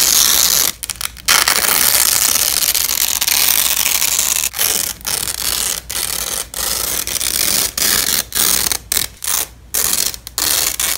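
Yellow and black nylon hook-and-loop (Velcro) strips, held in black-gloved hands, are repeatedly fastened and peeled apart. Each pull makes a bright, crackling ripping sound, and the long tearing stretches are broken by short pauses. The sound is mostly high-pitched, with almost no low end.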